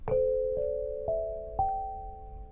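An 8-bar lithophone of solid polished black granite slabs, a set about 70 cm long weighing 7.5 kg on a low frame on a carpet, is struck with two soft-headed mallets with red and green balls on wooden sticks to play a melody. A short rising run of clear, bell-like tones sounds, each note starting in the mid range and ringing on to overlap with the next. The final note sustains and slowly fades.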